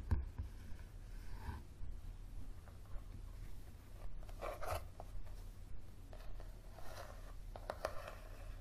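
Fingertips and nails tap and scratch on a thick yellow softcover paperback book with a coated cover, striking both the cover and the page edges. Quiet, irregular soft taps and papery scratches sit over a steady low hum, and the brief, dry hits die away almost at once.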